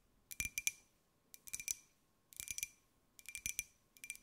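A small, hollow, white glazed ceramic jar with a pineapple print is held in the hands and tapped with long nails. Quick, bright clicking taps come in five short bursts separated by brief pauses, with a faint ring near 2.4 kHz. There is almost no low end.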